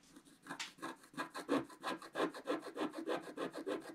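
A wooden stylus held in the fingertips scratches a flat black-coated scratch-art card in repeated strokes. About 17 short, dry, rasping scrapes come in a steady but slightly uneven rhythm, each with a brief bright hiss over a mid-range body and almost no low end.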